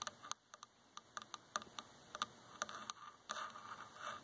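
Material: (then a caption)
Wood. Fingertips and long nails tap and scratch the arm of a dark varnished solid wooden chair. About 16 short, sharp, bright clicks land at an irregular pace over a quiet background, ringing briefly around 1.2 kHz. Toward the end, the taps give way to a soft, continuous scratching rasp.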